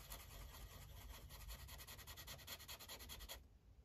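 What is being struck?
Felt-tip marker on paper sheet on a clipboard.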